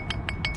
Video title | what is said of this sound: Super Bolt Sunday- NEW ROUTES // Bolting First Ascent with Kelly and Kurt | tap it and make sure it sounds solid